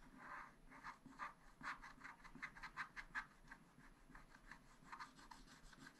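A wooden stylus scratches across the lower part of a black-coated sheet on a spiral-bound scratch-art pad. Quiet, dry, raspy strokes repeat in short, irregular bursts, about two to three per second, centered in the midrange with a bright scratchy edge. Each stroke stops quickly, with no ring.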